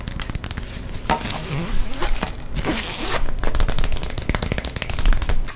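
An empty, flat pink iridescent holographic plastic pencil pouch with a zip and grommets is crinkled, scratched and tapped with long nails. Quick, dry clicking taps mix with crackly crinkling, and a brighter, hissy scraping swell rises in the middle before the fast tapping resumes.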